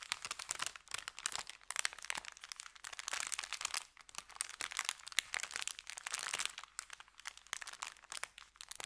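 Fingertips press, crinkle and rub an empty, flat, thin brown kraft paper bakery bag with red print against a felt surface. The result is a steady stream of dense, crisp crackling and rustling, bright and papery with almost no low end, rising and falling in short bursts throughout.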